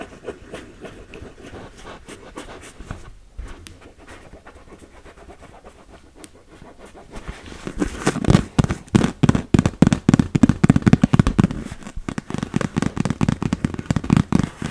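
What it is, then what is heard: Inflatable vinyl beach ball. Long red nails and fingertips tap and scratch the surface of a large, fully inflated, hollow blue-and-yellow PVC beach ball. For the first several seconds there is a soft, scratchy rustle. It then gives way to loud, rapid, irregular taps with a hollow, low, drum-like thud.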